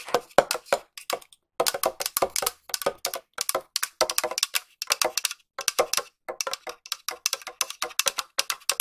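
Long nails tap on the side and lid of a small, round, hollow silver metal tin. The taps come in rapid bursts with short pauses between them, giving bright, dry clicks that stop almost at once.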